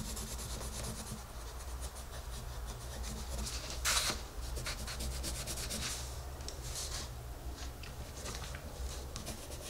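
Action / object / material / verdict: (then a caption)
scrape / wooden colored pencil on a paper page / paper / none. A wooden colored pencil colors a flat paper coloring book page, its tip scratching and rubbing the paper in short strokes. The bright, dry scratching is steady over a constant low hum, with one louder, sharper scrape near the middle.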